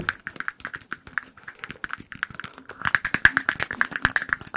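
Fingertips and nails tap rapidly on a small, empty, clear glass cup, making a quick, rattling stream of bright clinks with a ringing tone around 1.7 kHz. Each clink dies away almost at once, and the tapping grows louder and denser in the second half.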